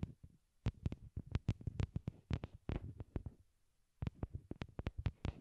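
A pair of small white hollow plastic wired Apple earbuds, used as the microphones and lying on a cork board, is tapped directly with long glittery nails. Roughly two dozen quick, sharp taps come out as deep, muffled thumps with a faint high click on top, briefly pausing before resuming, each dying away almost instantly.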